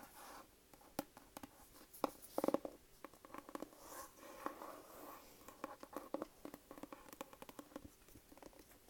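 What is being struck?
Cloth-covered hardcover book.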